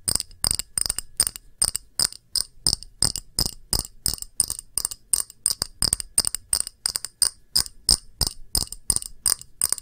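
A round, thick, clear pressed-glass shallow dish with a patterned rim is held upright and tapped with long nails. About forty quick, unevenly spaced taps give bright, high clinks with almost no ring and very little low end.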